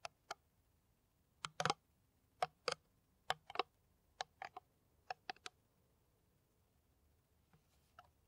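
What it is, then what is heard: Empty plastic water bottle. Long nails tap a clear, ridged, hollow and empty PET plastic water bottle held in the hand. The result is a sparse run of quick, dry clicks with a hollow midrange ping and bright edges; some come singly and some in short flurries. Each fades at once into near silence.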